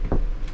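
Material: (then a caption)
Steel. A steel body panel of a Solati van, covered with a butyl anti-vibration mat, is knocked twice. Each knock gives a short, dull, low thud that dies away almost at once with no ringing. The panel now sounds deadened rather than tinny like bare sheet steel.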